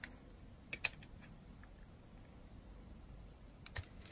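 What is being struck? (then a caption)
Bar of soap cut by a metal blade. A metal blade shaves curls off a solid, dry, yellow-and-white striped bar of soap held in the hand. Short, crisp, bright cutting clicks stand out above a quiet steady hiss. A pair of cuts comes near the start and another pair near the end.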